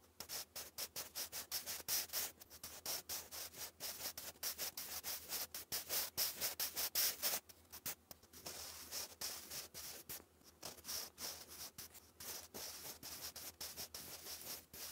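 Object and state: Pencil writing on lined card.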